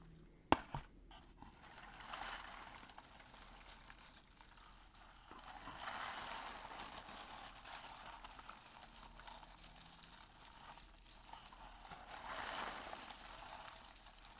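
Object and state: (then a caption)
Crinkle-cut paper shred filler. Fingers press, rub and scratch through loose brown crinkle-cut paper shreds filling a small open cardboard box. A sharp click near the start gives way to soft, dry crinkling and rustling that swells in slow waves and fades back. The sound stays quiet throughout, with most energy in the mid range.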